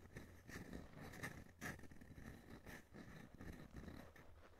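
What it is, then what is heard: Empty cardboard toilet roll tube. Fingertips and nails tap and scratch the outer wall of a short, hollow, empty brown cardboard toilet paper roll held upright in both hands. Soft, hollow, muffled taps mix with dry, papery scratching, with a few brighter scraping bursts standing out. The sound stays quiet and close throughout.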